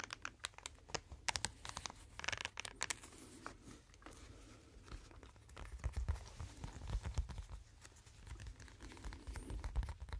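Hands scratch, rub and bend a pink flexible silicone brush-cleaning mat with suction-cup feet on the back. The result is a quiet, close series of dry crackling scratches and sharp clicks, with bright crinkly texture over a low rubbery rumble and soft thumps.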